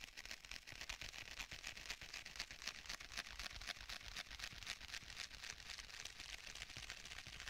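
Fingertips lightly tap on the cover of a black stitched faux leather tablet case. The result is a quick, steady patter of soft, dry taps with a bright, high-pitched tone and very short decay.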